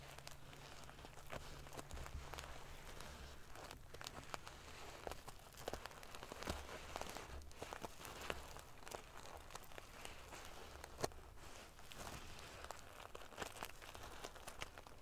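Long painted fingernails scratch and ruffle the small silver metal sequins sewn in rows onto the fabric of a large decorative pillow. A quiet, continuous crinkly rustle is broken by many sharp, bright clicks that die away almost instantly, over a steady low hum.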